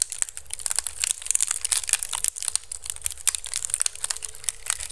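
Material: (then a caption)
Bamboo. Fingertips and nails quickly scratch a hollow, empty pink woven bamboo basket turned upside down over the mic. It makes a dense, bright, crackly scratching with rapid crinkling bursts over a low, steady rumble.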